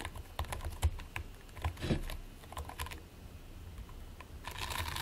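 Fingertips and nails from both hands press and scratch repeatedly into a flat patty of purple and white polystyrene-bead play foam resting on a white plate. The result is a rapid run of short, dry crackling clicks over a soft low thumping, with one louder squish near the middle. It ends in a steadier, brighter scratching rustle.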